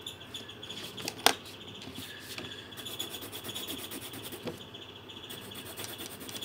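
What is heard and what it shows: A pink pencil, held in the fingertips, is rubbed over a thin paper colouring sheet on a table while colouring. Quiet, steady, scratchy strokes form a bright, hissy rasp, with one sharper tap near the start.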